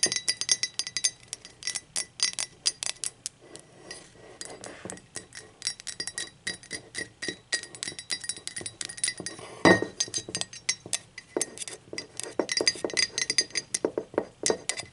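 Long pointed acrylic nails tap the sides and rim of an empty blue speckled glazed ceramic mug. The result is a dense run of quick, bright clinks with a ringing tone near 1.9 kHz. Each tap dies away almost at once, and one louder knock lands near the ten-second mark.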